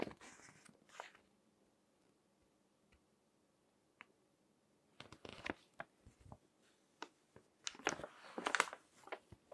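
Fingertips with long nails flip and crinkle the pages of a thick, crinkled glossy paper magazine on a table. Bright, dry crackles and rustles open the clip, then a near-silent stretch with a few faint taps. The crinkling returns in short bursts that build to the loudest, densest rustling near the end.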